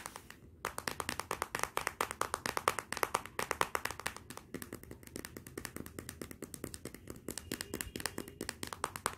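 Long nails tap rapidly and irregularly on the glossy glass back of a Motorola smartphone lying face down. The result is a quiet stream of dozens of sharp, dry clicks with a bright edge and no ring, like light clapping.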